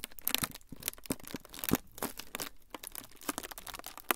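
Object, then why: Thin frosted plastic sheet. A thin, flexible, semi-translucent frosted plastic sheet is crinkled with fingertips close in front of the recorder. Fast, irregular crackles and crisp rustles come in dense bursts, bright and sharp with very short decays, between brief quieter gaps.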